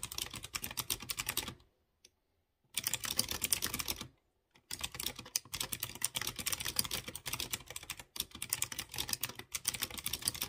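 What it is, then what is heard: Mechanical keyboard typing. Fingertips type rapidly on a light blue plastic mechanical keyboard with round chrome keycaps mounted on clear-housed blue switches. The result is a dense stream of bright, crisp clicking key presses, with two brief silent pauses near the start. Each click dies away almost instantly.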